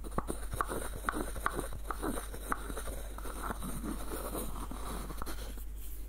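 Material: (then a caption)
Wood. Fingertips and nails scratch and tap the wooden body of a small, hollow, light-wood screw nutcracker with a dark knob. Short, dry knocks with a brief woody ring cut through a steady, soft scratching rustle. The sound stays quiet and close throughout.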